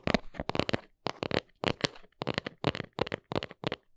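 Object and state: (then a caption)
Small cardboard box. Long nails tap and scratch the front face of a small brown cardboard box held in the hands. A quick, uneven series of dry, papery taps and crackly scratches comes in short clusters with brief pauses between them. Each sound stops almost at once, with no ring.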